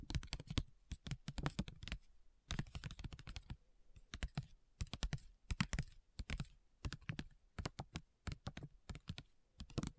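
A flat foil-and-paper facial sheet mask sachet lying on a table is tapped and scratched with long nails. Quick bursts of sharp, dry clicks come in rapid clusters, each tap dying away almost instantly. The taps have a dull, low-heavy thump under a light crinkly edge.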